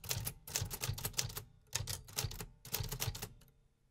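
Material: Metal.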